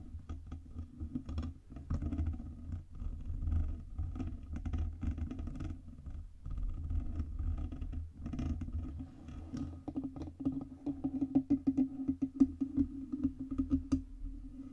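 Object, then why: Metal USB microphone body and stand. Long red nails tap quickly across the sides and base of a black Blue Yeti USB microphone, with its hollow metal body and stand. The result is a dense, soft patter of short, dull clicks over a deep, boomy low end. Near the end, the taps grow sharper and a steady low-mid tone comes through.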